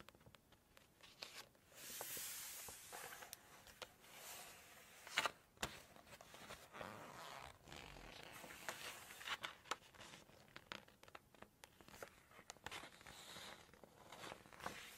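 Long nails tap and a glossy paper page of a large Chinese cookbook is flipped over. The quiet clip is full of bright, crinkly swishes and rustles as the page turns, with many short, sharp clicks from the nails on the paper.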